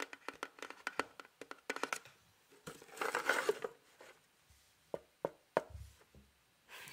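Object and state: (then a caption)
Cardboard box tapped with fingertips. Fingertips tap a small, hollow, printed cardboard box shaped like a house, held beside the microphone, in fast patters. The clip has a quick run of dry, short, papery taps, then a denser crinkly, rustling stretch in the middle, followed by a few sparse taps.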